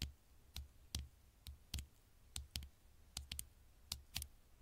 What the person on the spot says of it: super slow tapping on the screen